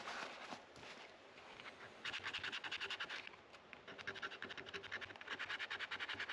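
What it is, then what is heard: Rosewood fretboard scraped. A white plastic card, held by the fingertips, is scraped back and forth across a solid dark rosewood guitar fretboard between the frets, with the neck resting on a neck rest. Dry, bright scratching comes in rapid, fairly even strokes, with softer, smoother rubbing before the first burst and during a short lull midway.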